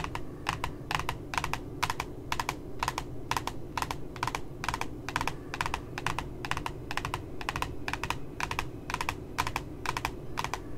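Fingertips and nails tap at the bottom edge of a glossy cardboard notebook cover with a puppy design, making quick, dry, clicky taps that often land in close pairs. Each tap is bright with a focus around 1 kHz and dies almost instantly, over a steady low rumbling background.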